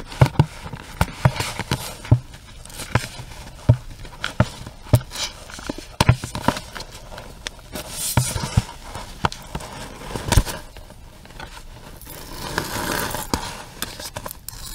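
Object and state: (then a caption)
Small cardboard box tapped and scratched. Long nails tap and scratch a small, hollow pink cardboard box with a round window. The result is a run of quick, dry, low hollow taps that die away almost instantly. Softer, breathy scratching swells fill the gaps, most noticeably near the end.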